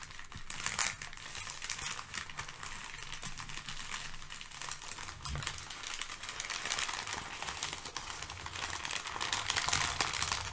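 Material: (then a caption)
Paper. Layered thin brown kraft packing paper resting on a fluffy rug is pressed flat, then gathered and crinkled with fingertips and nails. The result is a dense, continuous bright crackle with faint soft low thumps underneath, growing slightly louder toward the end.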